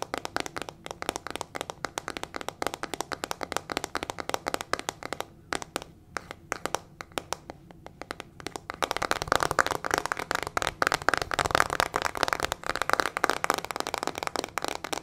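Long fingernails rapidly tap and scratch a small teal plastic hairbrush with metal pin bristles and a hollow plastic body, making dense, crisp clicking and ticking. The tapping thins out briefly in the middle, then returns louder and busier with a brighter scratching texture toward the end.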